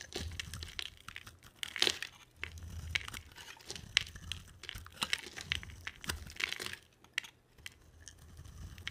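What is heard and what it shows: A palm-sized, solid blue and white striped dry bar of soap is carved with a box cutter blade. It gives off quiet, crisp scraping and crumbling crunches, bright and crackly, with occasional sharper cuts over a faint low hum.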